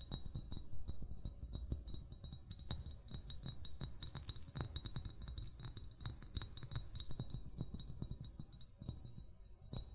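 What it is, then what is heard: Amber glass bottle. An upright amber (brown) glass bottle, hollow with its fill level not visible, is tapped with short fingernails and fingertips in quick, irregular succession. Each tap gives a short clicky tick with a bright glassy ping and a soft low thump that dies away almost at once.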